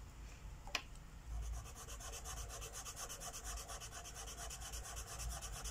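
A felt-tip marker is rubbed steadily over the thin paper page of a coloring book lying on a wooden table, filling in a mandala. After a brief sharp tick near the start, quiet, rapid back-and-forth scratchy strokes set in and continue evenly, giving a soft, bright, rhythmic hiss over a faint low hum.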